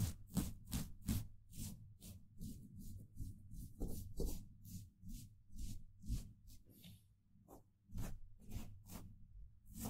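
The bristle tip of a small paintbrush, held in the fingers, rubs and taps a hollow steel mesh microphone grille. This produces a quick, uneven series of soft brushing swishes with bright, airy scratch. Each stroke carries a dull, low, close-up thump that dies away almost at once.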